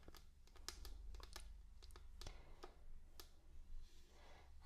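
Long dark-painted nails tap and click on a flat, solid wooden tabletop, with both hands lifting and dropping the fingers onto the wood. Sharp, bright clicks come in quick irregular bursts over a steady low hum, and a softer rustling swell rises near the end.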